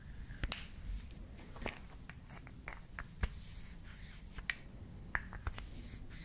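A small, solid, painted wooden toy lip balm with a pink cap and red stick is held up in both hands, handled, tapped and scratched with long nails, and its cap is pulled on and off. Sharp, dry clicks and taps come at uneven intervals with no ring, over soft, bright scratching and a low, rumbling background.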